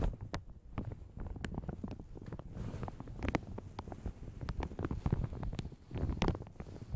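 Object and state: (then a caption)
Plastic shower cap crinkling. Long red nails scratch and pinch a light blue plastic shower cap stretched over a large hollow microphone. The result is a steady run of soft plastic crinkles and quick scratchy ticks over a deep, boomy low rumble. The crinkles flick briefly bright but stay mostly muffled, with no voice.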